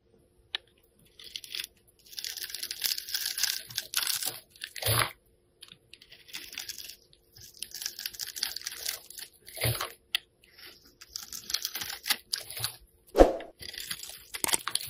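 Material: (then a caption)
Soap. A steel snap-off utility blade scrapes and carves the scored surface of a hand-held solid yellow soap bar with wavy edges, shaving off crunchy flakes. Bursts of crisp, bright scraping come and go, broken by short pauses and a few sharper, duller knocks.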